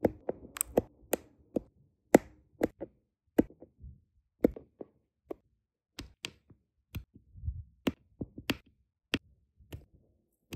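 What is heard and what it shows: A plastic drill pen with a metal tip repeatedly taps small, solid, round resin diamond painting drills into place on a flat adhesive canvas. Quiet, short, dry clicks and taps come at an irregular pace, each a sharp bright transient with almost no ring. Soft low rustles sit between some of the taps.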